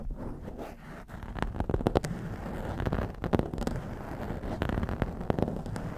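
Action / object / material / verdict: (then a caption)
scrape / foam microphone windscreen / foam / none. Long nails scratch and pinch along the top of a blue foam windscreen on a black microphone. The result is a close, muffled, low-heavy rustle broken by sharp crackling snaps scattered throughout.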